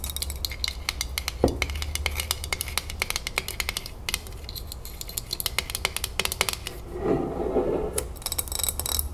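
Long nails tap rapidly on the metal twist lid and the glass sides of a full glass salsa jar, making a dense stream of short, bright clicks that barely ring. A low steady hum runs underneath, and near the end there is a brief softer rubbing sound before the fast tapping resumes.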